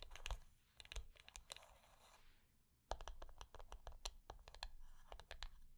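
A small, flat, rectangular hollow wooden box lying on black fabric is tapped and scratched with long nails on its top and edges. Sharp, dry clicks alternate with a brushy scratching texture. A short quiet pause is followed by a quick run of crisp taps.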